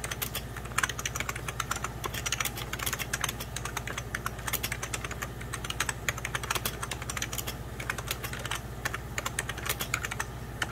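Fingertips of both hands type on a hollow, beige 1990s Packard Bell plastic computer keyboard. Rapid, continuous key tapping produces dense, bright plastic clicks that stop short with no ring. A steady low hum sits underneath.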